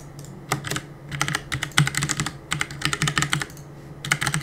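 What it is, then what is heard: Plastic mechanical keyboard. Fingertips press and tap the plastic keycaps of a black plastic CM Storm mechanical keyboard on a desk while gaming. Bursts of quick, bright clacks come in uneven clusters with short pauses between them, over a steady low hum.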